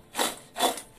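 Twice-fried potato fries are shaken with salt in a large basin, giving two short, dry, rustling crunch bursts with no low end. The fries are crispy.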